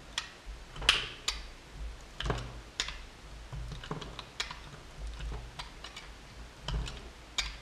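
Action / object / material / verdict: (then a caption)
scrape / solid bar of soap cut with a metal blade / soap / none. A metal utility knife blade slices cubes off a small, solid blue and white bar of soap held in the fingers. A series of crisp, bright cutting snaps and clicks comes through, each short and sharp over a faint low hum.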